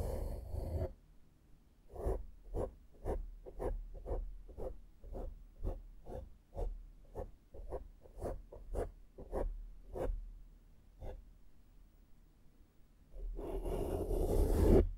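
A small flat makeup brush held in the fingers brushes across a soft, porous black foam windscreen on a microphone. About seventeen short, muffled swishing strokes come at an uneven pace of roughly two per second, framed by denser rustling at the start and the end.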